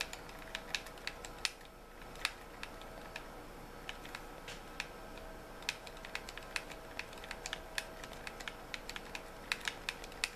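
Fingertips tap on the shell and triggers of a white hollow plastic gamepad, held with its back facing out. Many quick, bright, clicky taps land at an uneven pace and die away almost instantly over a steady faint background hiss.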